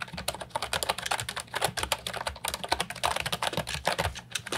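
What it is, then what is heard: Plastic mechanical keyboard. Continuous fingertip typing on an Ajazz 308I brown and white plastic retro mechanical keyboard with round keycaps and a hollow body, resting on a wooden desk. The result is a rapid stream of short, bright, clacky keystrokes with very little ring and a slight low thump beneath each press.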